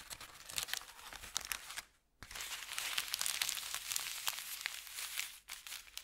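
An empty brown kraft paper bakery bag with a red logo is flattened and rubbed by fingertips, then lifted and crinkled by hand on a felt mat. Dense, bright crinkling and crackling fill the clip, broken by a short silence near two seconds and a brief dip near five and a half seconds.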